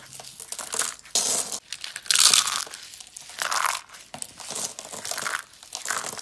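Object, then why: Soap curls crushed by hand. Yellow and dark brown hollow dry soap curls are crushed in fingers and hands into flakes. The result is a dry, bright crinkling crunch in repeated bursts, with sharp crackles and brief rustling between them.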